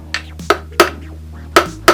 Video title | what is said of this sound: Motorcycle Engine Stripping! (9 year mystery solved!) | that Hollow sound oh yeah it's splitting